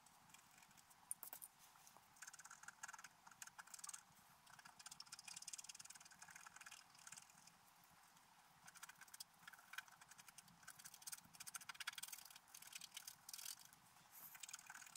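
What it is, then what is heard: Scratch art paper being scratched. A wooden stylus scratches details into a flat, black-coated scratch art paper page, producing dense, bright, dry scratching with short gritty strokes. The strokes come in bursts separated by brief quieter pauses, with almost no low end and no ring.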